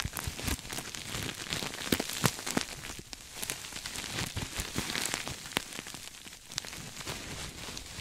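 A soft, stuffed cream sequin throw pillow is held up beside the mic and scratched and rubbed with fingertips and nails. The result is a dense, crackly rustling of sequins with many sharp, bright clicks standing out from the steady scratching.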